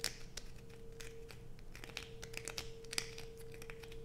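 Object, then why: Solid bar soap. A solid blue bar of soap held in both hands is scraped with long white nails, giving quiet, dry, crackly scratches with bright clicky bursts over a faint steady hum.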